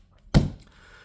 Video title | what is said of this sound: How do I ship cards to COMC? What cards do I send to list on COMC? | if you shake it you don't hear the cards rattling around cuz they're nicely secured